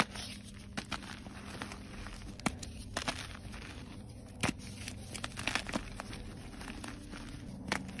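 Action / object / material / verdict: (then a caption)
scrape / gym chalk block / chalk / none. A solid white gym chalk block is pressed and broken apart with fingertips and short nails, giving soft, powdery crumbling with dry crackles. Sharp, bright snaps stand out irregularly over a quiet, steady low hum.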